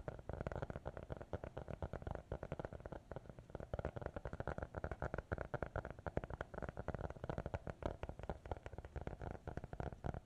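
Fingertips and nails tap and scratch a small, closed black hardcover notebook with an elastic band, held in both hands. A rapid, steady stream of soft, dull, low-pitched taps with quick scratchy textures continues throughout, each tap stopping almost instantly.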